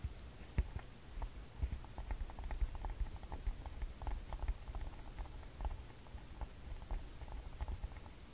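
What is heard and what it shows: Fingertips and short nails tap and drum on the front plastic body and screen of a TASCAM DR-40X, a small hollow plastic handheld audio recorder held in both hands. The result is a quiet, steady patter of short, dull clicks and knocks with a low, muffled body and almost no ring.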